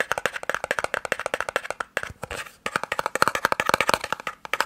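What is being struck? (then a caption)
Small cardboard box. A small, hollow white-and-red cardboard eye drops box is tapped quickly with fingertips and nails, giving a steady stream of dry, hollow clicks centred in the mid range with brighter edges. Midway, the tapping briefly gives way to a softer, scratchier rustle, then the fast tapping resumes. Each tap dies away almost instantly, with no ring.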